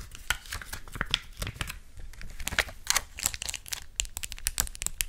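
A flat, thin clear plastic sheet of colorful acrylic gem stickers is held close to the microphone and scratched, tapped and crinkled with long acrylic nails. Crisp, bright clicks and crinkly crackles come in quick, dense succession, each dying away almost instantly.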